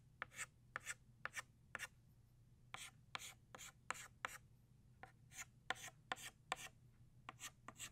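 An orange chalk stick held in the fingers makes short scratching strokes on a flat black chalkboard, drawing the lines of a flower's center. About nineteen brief, bright, raspy scrapes come in quick pairs and clusters with short pauses between them, each ending almost instantly. A faint steady low hum runs underneath.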